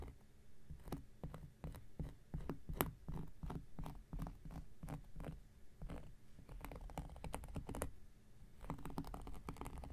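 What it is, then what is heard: Cork coaster scratched with a blade. An X-Acto knife blade makes quick picking scratches across a round, flat, solid cork coaster. The result is a rapid, irregular run of short, dry clicks and scratches, mostly low and muffled with brief bright ticks, over a faint steady low hum.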